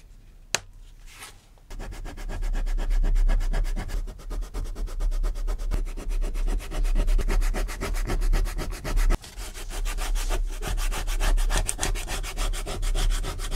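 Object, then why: Vegetable-tanned leather sheet. A thin, flat sheet of natural vegetable-tanned leather lies on a cutting mat, held in place by one hand. The metal tip of a wooden-handled awl scratches and scores its surface. After a quiet start with one sharp tick, a steady, rapid rasping sets in and runs for the rest of the clip, dipping briefly midway before resuming.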